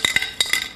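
A gimmicked metal paint can, its paint sprayed out, a steel bolt placed inside and a black felt circle glued on the bottom, is shaken to mimic an ordinary paint can. About five bright, high metallic clinks ring out with almost no low end. The rattle sounds the way a normal paint can is supposed to sound.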